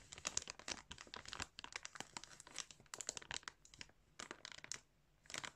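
Fingers pinch and crinkle a clear plastic bag full of yarn while a hand presses over it. The result is quiet, bright, dry crinkling in quick irregular bursts, with a short pause near the end before a final burst.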